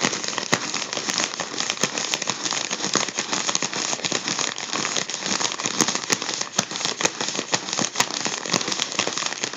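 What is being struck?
Mylar foil balloon.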